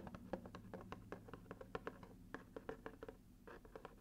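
Fingernails scratch across the flat, red-paper-covered cardboard lid of a gift box held in one hand. A rapid series of short, dry scratches and soft ticks sounds over a faint steady low hum, with little high-end brightness.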